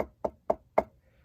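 Knuckle knocks on the metal chassis of a PS Audio DLIII DAC, which has wooden blocks glued onto it. Four short, dull knocks come at even intervals, each dying away almost at once with no metallic ring. The chassis sounds like wood rather than metal because the glued blocks have changed its resonance.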